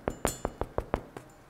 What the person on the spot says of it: that's the sound of a well Made bread